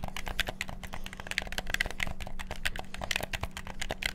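Fingertips rapidly click the buttons and triggers of a black PS4-style plastic gamepad. The result is a dense, fast stream of sharp, dry plastic clicks with bright ticks around 2 kHz and almost no ring. A faint steady low hum sits underneath.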